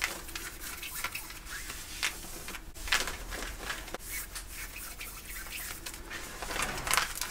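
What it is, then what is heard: Denim jeans being scratched. Fingernails scratch the woven cotton of worn light-blue denim jeans around the back pocket. Quick, raspy scrapes come in bursts, bright and hissy with little low end, over a faint steady background.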